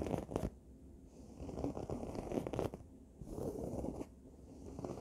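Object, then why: Fabric throw pillow. Long nails scratch along the red fabric of a throw pillow, producing soft, dry rasping strokes. The scratching comes in uneven bursts separated by quieter pauses, with a muffled low-to-mid texture and little brightness.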